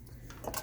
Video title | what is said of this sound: Eggscellent Eggsperiment Part 2 | if I tap it, you hear that sound? Clicks, right?